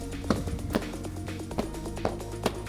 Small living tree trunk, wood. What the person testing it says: I'm 90% confident that this is solid right through.